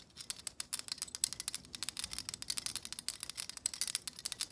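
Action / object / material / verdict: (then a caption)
flick / plastic vent hair brush with stiff bristles / plastic / none. Long acrylic nails rapidly strum the long, stiff plastic bristles of a black plastic vent hair brush. The result is a quick, uneven run of dry, high-pitched ticks and flicks with almost no low end and no ring. Softer scratchy brushing sounds fill the gaps between the ticks.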